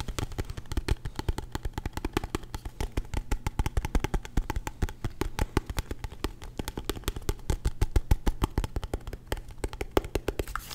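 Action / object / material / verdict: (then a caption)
tap / aluminum-cased portable hard drive / aluminum / none. A small, solid, palm-sized portable hard drive with a silver aluminum case is tapped fast with fingernails and fingertips for about eleven seconds. The result is a dense, rapid stream of short, dry taps and clicks with almost no ring, their weight sitting mostly in a low thud with a faint bright tick on top. A steady low hum runs underneath throughout.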